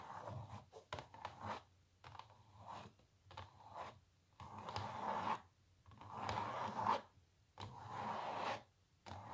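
Long natural nails rapidly tap and scratch a small printed canvas stretched on a wooden frame that lies flat on a table. Bursts of dry, papery scratching centered in the midrange come in uneven strokes, separated by brief quiet gaps, with a few sharp taps in the first seconds.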